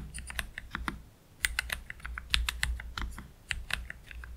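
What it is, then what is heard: Plastic mechanical keyboard. Slow typing with both hands' fingertips on a black, low-profile Keychron K3 Pro mechanical keyboard with Gateron Red low-profile switches and PBT plastic keycaps, resting on a cloth deskmat. Short, bright, clacky keystrokes come in an uneven run, with a brief pause near the one-second mark, over a steady low hum.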